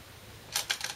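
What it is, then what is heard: Glass go stones placed on a shinkaya wood board. Korean glass go stones (size 36, 10.2 mm) are placed normally, not slammed, on a 2-inch shinkaya wood floor go board while replaying a professional game. After a quiet start, four bright, sharp clicks follow with very short decay.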